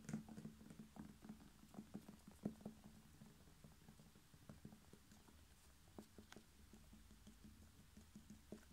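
A whole red bell pepper, hollow with a waxy skin and a green stem, is tapped and lightly rubbed by fingertips and short nails. Quick, irregular soft taps with a dull, hollow low tone and almost no ring mix with faint scratchy brushing. A steady low hum sits beneath the quiet patter throughout.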